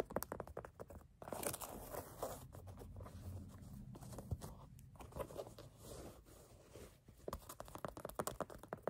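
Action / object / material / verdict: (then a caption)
tap / canvas sneaker upper / canvas / none. Fingertips and nails tap and scratch the black canvas upper, near the laces, of an empty low-top platform sneaker held in hand. Quick, dry, crisp taps come in rapid bursts at the start and end, with a steadier, softer scratching rustle in the middle. A faint low background, possibly music, sits underneath the quiet sounds.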